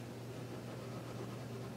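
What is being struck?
Nothing is struck.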